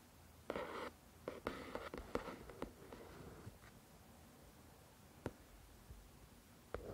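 A fingertip and long nail trace and tap across the glossy card cover of a paperback novel. Soft, dry scratching strokes alternate with short, sharp taps that die away almost instantly, all quiet and centered in the midrange over a faint hiss.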